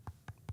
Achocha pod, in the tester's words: I'm just tapping it there. It's a bit hollow.